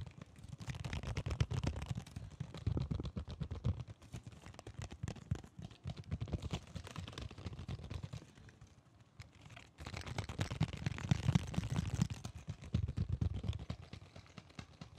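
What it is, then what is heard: Cardboard and plastic blister package, tapped. A Digimon toy blister package, a cardboard card with a clear plastic blister, is held in both hands and tapped rapidly with the fingertips. The taps make dense, dull low thumps with light crinkly clicks. Two louder bursts of tapping surround a quieter stretch in the middle.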